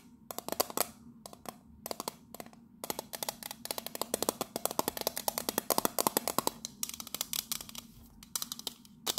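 Long nails tap rapidly on the base and side of a pink metal biscuit tin. Quick bursts of sharp, bright clicks carry a light metallic tone near 890 Hz and die away almost instantly. A faint low hum runs underneath.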